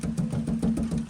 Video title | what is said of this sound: How Did this Gutter Guard Perform Worse than an Open Gutter? (Out of 9 Guards Reviewed) [2025: EP2] | that Hollow sound means that it's not clogged in the down spout